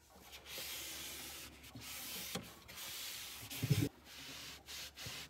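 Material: Plastic.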